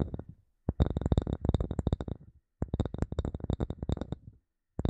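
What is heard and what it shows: A wooden object, the third in a series, is tapped in quick bursts of dry, low-pitched knocks that die away almost instantly. Two rapid runs of tapping are separated by a short pause, and each tap carries a faint, bright tick on top of its dull thud.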